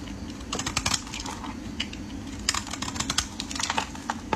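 A metal utility blade shaves flakes from the end of a solid, speckled orange bar of soap, hand-sized and held in the hands. A rapid series of crisp, dry scraping clicks and short bright ticks comes in uneven bursts, each dying away almost instantly over a steady low hum.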